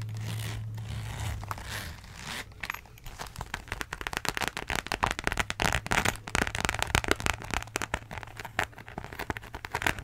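A beige croc-embossed faux leather wallet is turned in the hands while long nails scratch its textured surface. A low steady hum sits under soft rustling at first, then gives way to dense, rapid, bright scratching and crackling clicks that continue to the end.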